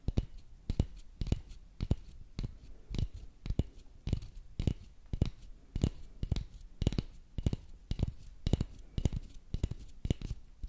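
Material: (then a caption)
Wood. A long, thin, solid wooden dowel lying across two microphones is tapped and scratched with the fingernails of both hands. Irregular dull, low, dry thumps with almost no ring alternate with soft, faint scratching noise in between.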